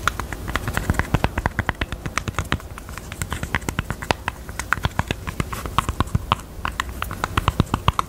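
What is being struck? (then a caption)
Jewelry box. A pink jewelry box is tapped with the fingers in a steady, rapid series of short, dry taps. Each tap is a brief click with a low body and a bright tick, decaying almost instantly.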